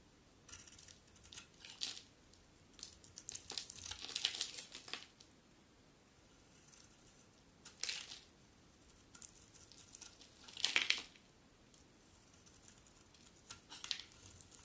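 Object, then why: Soap bar shaved with a metal blade. A hand-held solid bar of soap with a black coating and a cream core is shaved with a metal utility knife blade. Bright, dry scraping and crackling bursts come in uneven strokes, with the longest shaves around the middle and near the end, separated by quiet pauses.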